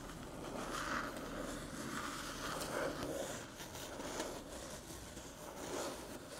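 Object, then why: Small aluminium USB hub. Long metallic nails tap and scratch the top of a small, flat, hollow aluminium USB-C hub near its edge as it sits on a dark table. The result is a steady, soft run of scratchy, rustling scrapes and light clicks with a hollow metallic tone around 540 Hz. Brief brighter streaks rise above the scraping.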